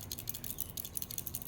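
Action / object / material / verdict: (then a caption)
shake / electrical relay in plastic case / plastic / loose. A failed, internally loose relay from an Atwood water heater in a 2021 Prowler is shaken on the bench, producing about a dozen quick, bright rattling clicks. The new replacement relay makes no such noise.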